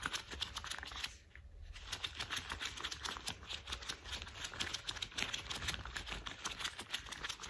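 Gloved fingers in worn, thick cream rubber household gloves are tapped, squeezed and rubbed together, making dozens of quick, crisp, bright taps and squeaky rubs. A brief quieter lull falls just after the first second, and a faint steady high whine runs underneath throughout.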